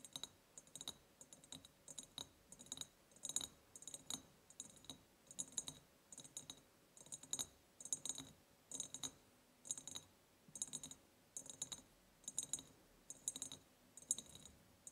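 Long painted nails tap on the sides of a large, empty ribbed glass jar with a white ceramic lid and a ribbon. A quiet, steady series of quick, bright clicking taps follows, each dying away almost at once with a faint glassy tick.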